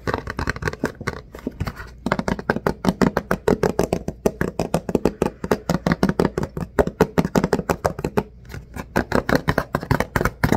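A hollow Puffs Plus Lotion cardboard tissue box with tissues inside is held in the hands and turned while fingertips and nails tap and scratch it. The result is a fast, steady stream of short, dull, papery taps with a low-mid body and almost no ringing, broken by brief lulls around two and eight and a half seconds.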